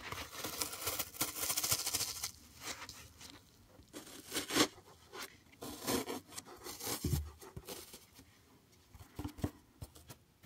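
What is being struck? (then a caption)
Green floral foam block. A solid green floral foam block, held close to the mic, has its surface scratched and pressed with fingertips and nails. Bright, dry, crumbly scratching and crackling come in uneven bursts, some with soft thumps, separated by short quiet gaps.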